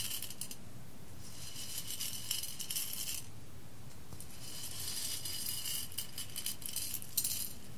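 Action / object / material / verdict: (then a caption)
scrape / roasted coffee beans on a glass plate / coffee beans / none. Loose whole roasted coffee beans are swept and stirred by a hand with long red nails across an embossed clear glass plate. Bright, dense rattling and clicking comes in bursts over a low, steady hum, with a brief silence around the fourth second before the stirring picks up again.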